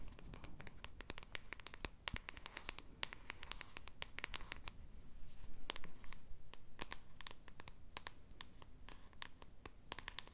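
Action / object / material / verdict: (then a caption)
scrape / small printed cardboard box / cardboard / none. Long red nails quickly scratch and tap the surface and edge of a small pink printed cardboard box held in the hand. Rapid, irregular dry scratches and crisp, bright clicks follow one another closely over a low background rumble, with a short louder stretch in the middle.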